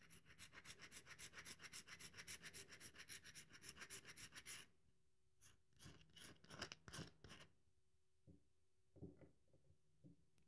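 A solid, dry bar of soap held in both hands has its surface rubbed and scratched with long nails, leaving crumbs on the table. A fast run of bright, raspy scratching strokes fills the first half, then gives way to a few separate louder scrapes and softer, duller rubs with quiet gaps between.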